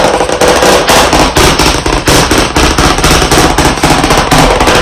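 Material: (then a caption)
Slate board, wood. White chalk sticks held in both hands tap rapidly on a solid, medium, flat black chalkboard panel in a wooden frame. The taps come in a fast, uneven, dense clatter of sharp, bright clicks with a woody knock beneath, running together into a continuous rattling patter.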